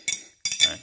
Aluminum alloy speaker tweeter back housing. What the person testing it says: nếu học Kim nó hợp kim nhôm thì BC nghe thấy nó keng keng keng đấy keng